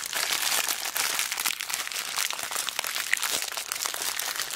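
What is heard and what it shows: A small clear plastic zip bag full of beads is squeezed and crinkled with fingertips and long black nails. The result is a dense, continuous bright crinkling with tiny rattling clicks that stays steady throughout, with almost no low end.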